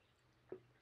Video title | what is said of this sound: FALL-OWEEN Pt 2 Thrifted Pumpkin Upcycle ~ Fairy House Pumpkin DIY ~ Fall & Halloween Decor | I can tell by how it feels and how it sounds when you tap on it that it is carvable